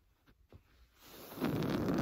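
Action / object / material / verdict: scrape / woven fabric sofa cushion / fabric / none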